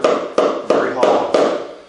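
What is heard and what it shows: Five evenly spaced taps on a wooden foundation mudsill resting on old porous concrete each give a hollow, papery knock around 500 Hz that dies away within a fraction of a second. The hollow sound reveals concealed dry rot on the mudsill's underside, caused by water wicking up through the porous concrete.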